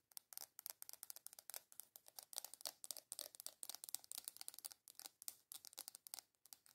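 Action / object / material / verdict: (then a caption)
tap / small round plastic container / plastic / none. Long nails rapidly tap and scratch the top of a small, hollow, round black plastic container. The result is a quiet, fast run of crisp, bright clicks and scratchy rasps with almost no low end, each sound stopping dead with no ring.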